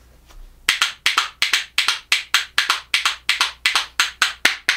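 A pair of small, solid, light-coloured Japanese ash (yachidamo) wooden percussion spoons, held back to back, is struck against the hand and knee. After a faint soft sound, a steady run of sharp, dry, bright clacks follows, each with a very short decay and no low end.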